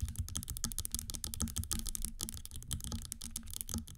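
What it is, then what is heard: Platform stiletto shoe with a hollow platform. A gold metallic platform stiletto standing on a table is held and tapped, and long green nails scratch its hollow platform and straps. Rapid, dense clicky taps with bright high ticks ride over a hollow low thud, blending with scratching that keeps going throughout.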